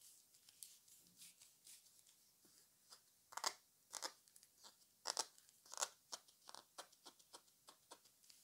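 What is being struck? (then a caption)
Small plastic spray bottle. Short fingernails and fingertips tap and rub along the body and pink spray cap of a small, hollow pink plastic spray bottle with a printed label, held in both hands (fill not visible). About 16 quiet, crisp clicks and scratchy rubs come at an uneven pace, with a few louder taps. The sound is bright and dry with no low end and almost no ring.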